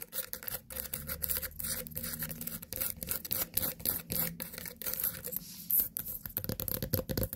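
Long nails tap and scratch the rind and stem of a small, whole white pumpkin, a solid fruit. Quick, irregular dry taps and rough scratching strokes run through the clip at about four per second, with short, unresonant hits and a low rumble underneath.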